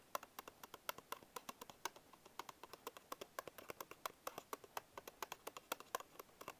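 Fingertips tap the end and front panels of a small paperboard Bisco biscuit box held in one hand. About 49 quick, dry taps come in an irregular patter, each a crisp papery click centered near 1 kHz with bright edges and almost no ring. The result is a soft, steady hollow tapping with very little low end.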